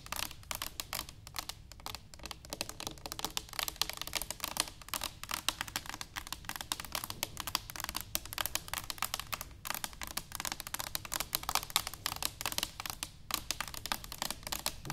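Long nails tap rapidly and continuously on an upright, hollow stainless steel cylinder canister. The result is a steady stream of light, bright metallic clicks with a short ring.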